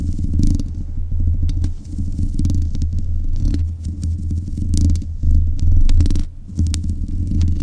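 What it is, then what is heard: Nails scratching a metal microphone grille. Long nails scratch the metal mesh grille on top of a black USB condenser microphone. The result is a close, heavy, rumbling scrape dominated by low frequencies around 66 Hz, with quick bright ticks and rasps flickering through it. The sound stays dense and continuous, with brief dips before it resumes.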